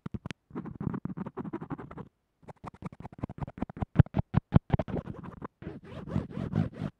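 The metal tip of a yellow-black mechanical pencil scratches and taps along white textured tape that holds a small earphone microphone flat to a table. Quick, dry, low-heavy scratching bursts come in a rapid, uneven run with a brief pause near the middle and a few sharper taps. The scratching grows into longer, rougher strokes at the end.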